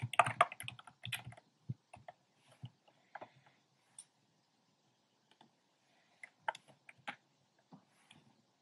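Fingertips with short painted nails type on a compact plastic mechanical keyboard with a black plastic case and hollow, round pink, red and cream plastic keycaps. A quick flurry of dry, clacky keystrokes opens the clip, then gives way to sparser, scattered taps with short pauses between them. Each click is sharp and dies away almost instantly, with no ringing.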